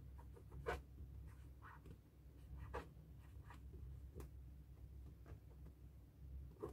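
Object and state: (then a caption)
Latex balloon being written on with a marker. A felt-tip marker writes "New Year" on the rubber surface of a hollow, inflated, light blue latex balloon. It makes squeaky, scratching strokes in short bursts with brief bright streaks, over a steady low hum.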